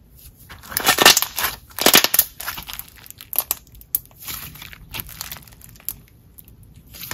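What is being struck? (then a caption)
Jelly slime. A glossy, translucent green jelly slime is stretched between both hands and then pressed with the fingertips, making wet, crackly squishing sounds. Bright bursts of squelching peak in two loud clusters early on, then fade into softer, irregular squishes and pops.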